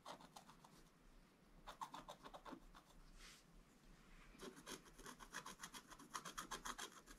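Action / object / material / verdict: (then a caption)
scrape / black-coated scratch art paper board scraped with a wooden stylus / coated paper / none. A wooden stylus scratches lines into a flat, black-coated scratch art page, making quick, bright rasping strokes in uneven bursts. After a quieter stretch with one softer, longer scrape, the strokes return faster, denser and slightly louder toward the end.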